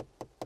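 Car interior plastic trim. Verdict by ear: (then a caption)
Good quality. A ring is tapped against the interior plastic trim of a 2020 Peugeot 2008, giving two short, dull knocks that die away quickly with a mid-pitched tone around 500 Hz. The plastics sound solid and good quality, less plasticky than a Volkswagen T-Cross or T-Roc.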